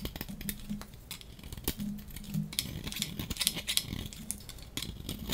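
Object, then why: Bar of soap shaved with a metal blade. A hand-sized, solid blue-and-white striped dry soap bar held in the hand is shaved with a metal utility-knife blade. It makes a quick run of dry, crisp scraping ticks and crackles, bright and brittle, over a faint low hum.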